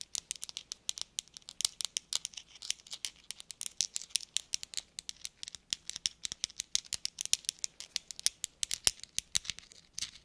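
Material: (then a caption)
Metal. Four small hollow metal thimbles, worn on the fingertips of black rubber gloves, are clicked and tapped against each other in a rapid, uneven stream of about 65 sharp ticks over ten seconds. Each click is bright and very brief, dying away almost instantly, with almost no low end and perhaps a faint rubbery glove sound between taps.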